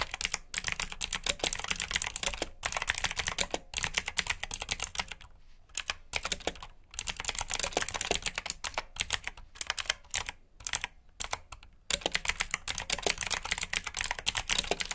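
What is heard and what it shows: Fingertips type on the clicky keycaps of a black plastic backlit mechanical keyboard with blue switches. The result is a rapid, steady stream of sharp, bright clicks that die away almost instantly, with brief pauses near the middle and again around the eleventh second.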